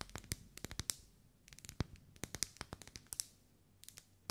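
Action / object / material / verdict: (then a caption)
tap / wax pillar candle / wax / none. Long nails tap a lit pink ribbed pillar candle of solid wax held in the hands. About twenty quiet, sharp clicky taps come in irregular bursts, each bright and crisp with a dull low thump beneath and dying away almost instantly.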